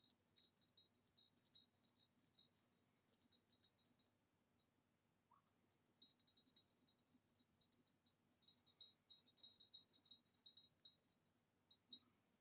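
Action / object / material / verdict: tap / glass vase / glass / none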